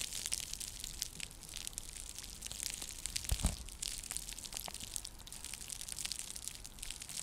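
Long nails scratch and tap a round, flat, coiled woven seagrass (straw) coaster held close to the mic. The result is a steady, bright, crackly scratching texture dotted with quick dry taps, with a slightly louder burst just past the midpoint.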